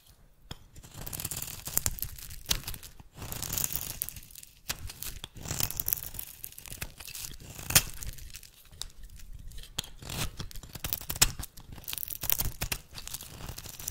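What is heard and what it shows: A metal blade shaves thin curled flakes from the edge of a solid oval bar of rancid brown soap with a scraping, cutting action. Repeated bursts of dry scraping and tearing crackle with bright, hissy detail and faint low rumble, separated by short quiet pauses.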